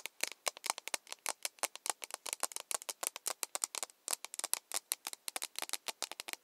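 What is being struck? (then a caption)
Plastic mug. Long nails tap an empty, hollow plastic mug with a handle in a fast, uneven run of many dry, bright clicks. The taps are short with almost no ring and no low end, and there is a brief pause just before the four-second mark before the tapping resumes.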